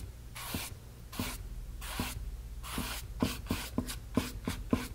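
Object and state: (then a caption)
Brush strokes on a stretched canvas. A flat synthetic brush loaded with wet medium is brushed back and forth across a small white blank stretched cotton canvas, fabric over a hollow frame. Soft, breathy rubbing swishes with faint low thumps from the frame start slow, then quicken into a faster run of short strokes.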